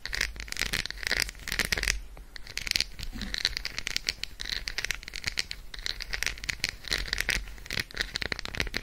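Long acrylic nails rapidly tap and scratch the squares of an unwrapped Roshen milk chocolate bar, a solid segmented slab resting on fur. The result is a dense, continuous stream of bright, dry clicks and scratchy rasps with no ringing after each tap.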